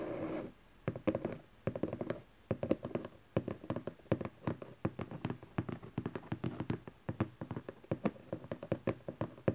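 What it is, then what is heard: Cardboard box, hollow. Fingertips and nails tap rapidly on the top face of a small, hollow cardboard camcorder box resting on satin fabric. The clip is a quick run of short, dry, hollow knocks with a low-mid body and almost no bright edge, each dying out almost instantly. A few brief pauses break up the tapping.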